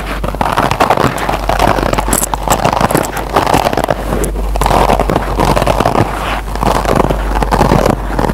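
Fingertips and short nails of both hands scratch the green nylon scour side of a single rectangular kitchen scrub sponge with a yellow foam base, lying on a table. The result is a continuous, dense, rasping scratch centered in the mids, rising and falling in steady waves over a constant low hum.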